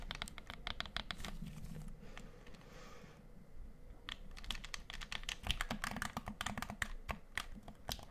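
Fast fingertip and nail tapping on the face and buttons of a black plastic gamepad with a hollow shell, held close to the mic. Quick, dry, clicky taps rattle along in bursts, with a brief softer, hissy stretch in the middle before the rapid tapping resumes.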